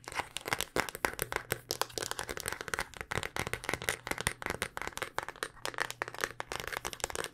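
Long dark-painted nails tap rapidly on a handheld smartphone in a solid black rugged hard-plastic case. The result is a continuous stream of short, dry, bright clicks that stop instantly with no ring, over a faint steady low hum.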